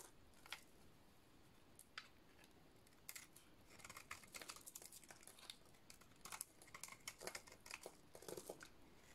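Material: Soap.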